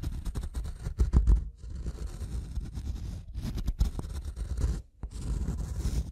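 The double metal prongs of a pink-handled tool tap and scratch across the top surface of a solid, light-colored wooden block. The result is a close, low, rumbling scrape with a few sharper taps near the one-second and four-second marks. Brief pauses break the steady grinding.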